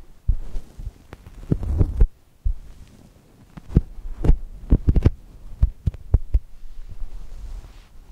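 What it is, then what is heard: Foam squishy toy. Fingers press and squish a soft brown foam chocolate toast squishy while long nails scratch across it. The result is a run of dull, low, muffled thumps and brief soft taps with faint scratchy rustling between them. Nothing rings on after each touch.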